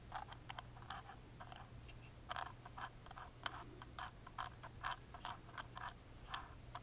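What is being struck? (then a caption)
Small plywood music box lid. A wooden toothpick tip scratches and taps across the engraved pattern on the carved lid of a small, hollow, laser-cut plywood music box with a metal crank, held in hand. Quick, dry, hollow clicks and short scratchy strokes come in an irregular stream, each dying almost instantly, with bright high edges over a steady low hum.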